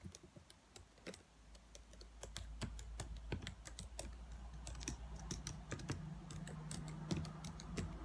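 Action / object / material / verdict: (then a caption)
tap / plastic laptop keyboard keys / plastic / none. A dark laptop's black plastic keyboard is typed on and tapped with fingernails, producing a quick, irregular stream of sharp, bright clicks. A low steady hum sits underneath and gets a little louder after about five seconds.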